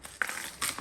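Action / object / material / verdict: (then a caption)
tap / watermelon / melon rind / unripe. A home-grown watermelon is tapped three times to judge its ripeness, each tap giving a short, dry, high-pitched knock with very little ring and no deep low tone. The melon is not ripe yet.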